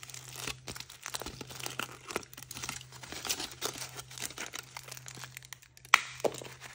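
Fingertips and nails crinkle and tear the thin printed aluminium foil off a hand-sized chocolate egg held in the hand, exposing the chocolate underneath. A dense run of bright, crisp crackles and rustles continues throughout over a faint low hum, with a sharp, louder snap of tearing foil near the end.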